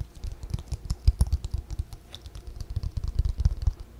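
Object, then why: Paper notebook cover tapped and scratched with fingernails. A white spiral-bound paper notebook is held and bent in both hands while its cover is tapped and scratched with long fingernails. The result is a rapid, uneven stream of short, dull, low taps, each with a faint bright tick, dying away almost instantly.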